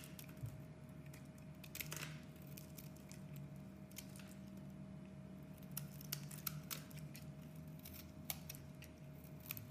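A metal blade scrapes thin curls and flakes off a solid purple striped oval bar of soap held in the hands. Quiet, crisp scraping and crackling runs throughout, broken by sharp, bright clicks, over a steady low hum and a faint sustained tone.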